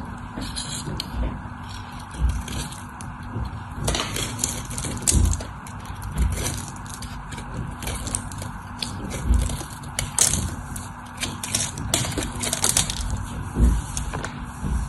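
A craft knife cuts and shaves a white solid soap bar with a stamped logo and diagonal scoring, and crumbly flakes break off. The clip is a steady, crisp scraping with bright crackle, punctuated by louder crunchy cuts and soft low thuds.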